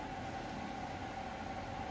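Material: Nothing is struck.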